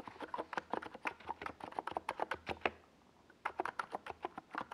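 Fingertips of both hands type steadily on a NiZ Plum Atom 68, a compact 68-key mechanical keyboard with a white plastic case and tall purple and yellow Domikey Gas Attack SA plastic keycaps, resting on a desk pad. About 27 short, crisp, hollow plastic clacks come in quick runs, with a brief pause near the middle before the typing resumes.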